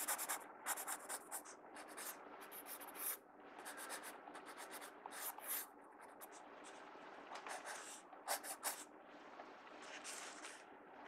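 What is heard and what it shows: A mechanical pencil tip is drawn across the page of an open paper sketchbook in sketching strokes, scratching the paper. The sound is a series of short, bright, dry scratching bursts with quieter, softer rubbing between them.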